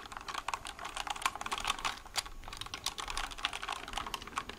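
A white plastic mechanical keyboard is held close to the mic while its keys are typed rapidly with fingertips. The result is a quick, steady patter of crisp, bright clacks centered around 1 kHz, each keystroke dying away almost instantly, with very little low end.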